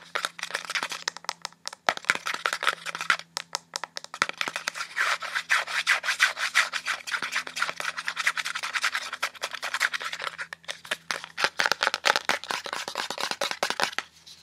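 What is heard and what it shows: A small blue plastic cosmetic squeeze tube with a white cap, held upright and tilted, is scratched and rubbed rapidly by long painted nails over its surface and crimped end. A dense, continuous stream of quick dry clicks and scrapes, crisp and bright, comes through with only brief pauses.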